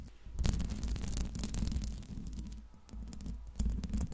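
Long pink nails tap and scratch on the hollow steel mesh grille of a Blue Yeti microphone. The result is a dense, continuous stream of deep, boomy thuds with quick, bright scratchy ticks on top. It swells and dips in loudness, with a stronger burst near the end.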